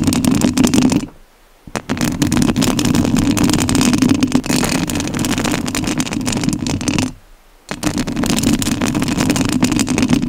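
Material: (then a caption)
Metal mesh. Long nails scratch the metal mesh grille of a rhinestone-covered studio microphone, making a dense, close, rasping scrape with a strong low-mid hum-like body and bright crackle on top. The scratching runs continuously and stops briefly twice, each pause dropping to near silence before it resumes.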